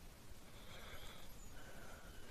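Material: Nothing is struck.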